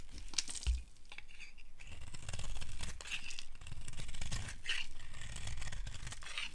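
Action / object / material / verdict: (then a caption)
scrape / bar of soap / soap / none. A metal blade shaves a solid, light blue, oval bar of dry soap held in the hand, carving off curls. Steady dry scraping and crisp, crunchy tearing come in a series of strokes, with bright crackle on top of a low rumble.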